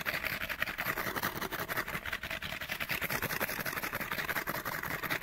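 Fingernails scratch quickly along the sides of a small, hollow, printed cardboard light bulb package. The result is a dense, continuous, bright rasping texture with rapid, uneven strokes. It stays steady for about five seconds, with a thin low end.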